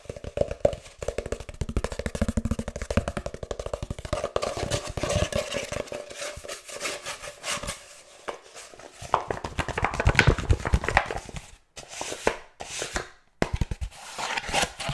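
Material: Cardboard.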